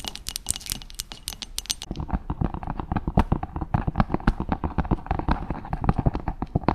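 A round, solid wooden cutting board about 30 cm across lies flat and is tapped and lightly scratched with long chrome stiletto acrylic nails on both hands. The first two seconds bring quick, bright, crisp clicks; then a rapid, steady patter of duller, woody taps follows. Each tap dies away almost instantly, with light scratching between them.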